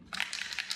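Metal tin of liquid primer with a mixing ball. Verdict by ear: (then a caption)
Loose. A tin of Sika primer is shaken, and a rapid, bright metallic rattle is heard as the contents knock inside. Several quick clacks run together across the clip. The rattle shows that the contents have loosened and are being mixed.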